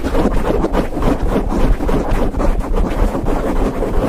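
Fingertips of both hands scratch and rub a grey foam windscreen covering a microphone head. The result is a continuous, dense, muffled rumble with a rough scratchy texture, with almost all its energy deep in the low end and very little brightness.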